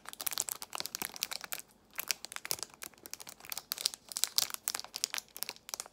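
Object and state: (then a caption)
Cellophane-wrapped plastic box, crinkled. Long nails squeeze and crinkle a small clear plastic box of false nail tips inside a cellophane wrapper, with loose tips inside. Dozens of sharp, bright crackles come in quick bursts, with a brief pause before the second second. The sound is crisp and high with no low end, and each crackle stops almost instantly.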